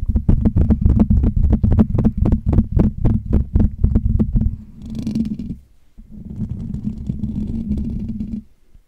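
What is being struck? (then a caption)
Metal wire-mesh microphone grille. Fingertips of both hands tap and scratch the hollow metal wire-mesh dome grille of a Blue Yeti USB microphone. A fast, steady run of deep, boomy thumps lasts about four and a half seconds, followed by a brief brighter scratchy rustle and a short pause. A continuous low, rumbling scratch then runs until near the end.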